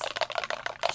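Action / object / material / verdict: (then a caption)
shake / plastic spray bottle with a mixing ball inside / plastic / none. A plastic Ranger Perfect Pearls Mist spray bottle is shaken, and the mixing ball inside rattles against the walls in quick, dry, clicky knocks with a bright tone around 670 Hz. The ball is there so the pearl powder is evenly distributed through the liquid.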